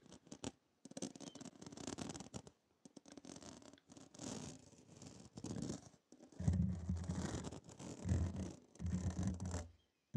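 Long nails scratch and tap a hollow, dome-shaped stainless steel wire mesh strainer with a steel rim and handle, set over the mic. Bursts of dense, raspy scratching come in short stretches separated by brief pauses. Deep, droning low rumbles swell beneath the later passages.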